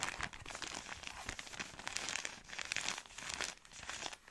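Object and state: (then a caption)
Plastic film pack crinkling. Long nails scratch and squeeze a soft plastic-film product pack, producing continuous bright crinkling and crackling. The texture is dense and close, with rapid short rustles and almost no low end.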